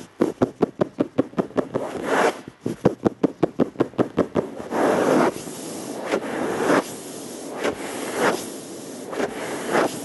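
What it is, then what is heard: Flat plastic surface. Fingertips with short nails on both hands tap a dark, flat plastic surface in a quick run of about 19 sharp, dry clicks with almost no ring. The tapping then gives way to longer, hissy scratching and rubbing strokes across the plastic, with bright, noisy swells that rise and fade.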